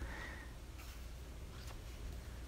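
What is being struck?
Nothing is struck.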